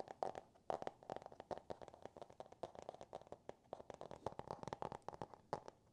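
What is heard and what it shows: Fingertips and nails tap and scratch the cardboard cover of a small, solid "Green Eggs and Ham" hardcover book with paper pages, held in both hands. The result is a quiet, rapid, irregular series of short, dry taps with a hollow mid-range knock and scratchy, crinkly textures between them.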